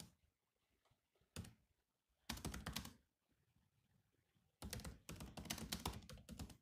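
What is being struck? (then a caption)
Plastic laptop keyboard keys. Fingertips type on the low-profile plastic chiclet keys of a grey metal-bodied laptop. One isolated tap is followed by a burst of quick clicky keystrokes, a quiet pause, and then a longer run of rapid, bright taps with soft thunks underneath.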